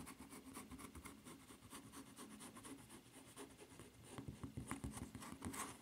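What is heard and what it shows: Long nails scratch and rub across the footbed of a white rubber flip-flop with a red print and strap, making a quiet, steady, rapid scratching patter. The scratching grows louder and more clicky in the last couple of seconds.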